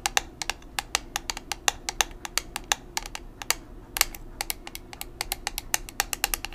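A small square black plastic makeup powder compact, still in its packaging, is held in both hands and tapped with long nails. About forty quick, sharp taps come in an uneven rhythm, each a bright, dry click that dies away almost instantly over a faint low background hum.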